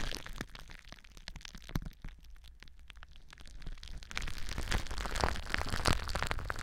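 Long nails scratch and squeeze clear plastic bubble wrap wrapped around a microphone, making dense, irregular crackling and crinkly pops over a deep, close rumble. The scratching stays softer for the first few seconds, then grows louder and busier with sharper snaps in the second half.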